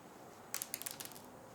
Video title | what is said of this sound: I Left EVERYTHING In Jars For 30 days........ | They're still very hard. They didn't absorb anything.